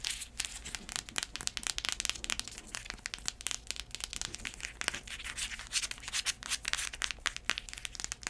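Long acrylic nails scratch the braided straps and tap the tan insole of an empty black braided faux-leather heeled sandal with a block heel. The result is a dense, bright run of short crinkly scratches and clicks with almost no low end.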